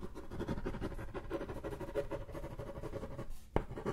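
Fingernails scratch and tap the back of a thin, flat, solid brown hardboard clipboard. A dense, continuous, low-weighted scratching rasp runs throughout, with a soft faint drone under it. A brief lull is broken by one sharp, dry tap that dies away almost at once before the scratching resumes.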